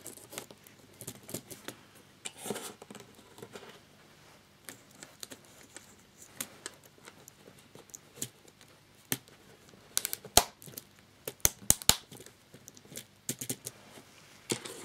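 Fingertips of both hands tap repeatedly on a flat black plastic laptop keyboard, about 30 cm wide, lying loose on a table with many keycaps removed so its plastic scissor hinges are exposed. The taps land on the hinges and the remaining keys. About 25 quiet, bright, dry plastic clicks come in irregular bursts, with a few sharper, louder ticks near the middle and end.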